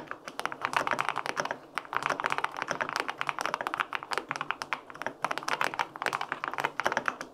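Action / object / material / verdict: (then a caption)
tap / mechanical keyboard with aluminum case and plastic keycaps / aluminum, plastic / none. Both hands type continuously with fingertips on the plastic keycaps of a white-pink full-aluminum 65% mechanical keyboard with linear switches. A dense, steady run of short, crisp clacks is heard, centered in the midrange with bright edges and almost no low end. Each keystroke dies away quickly.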